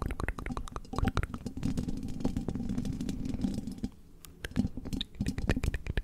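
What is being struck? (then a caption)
Metal mesh microphone grille. Long red-tipped fake nails tap and scratch the hollow metal mesh grille of a silver condenser microphone. Dense, rapid clicks and scrapes ride over a low, hollow, boomy rumble. The sound briefly thins out to a quieter stretch before the tapping picks back up.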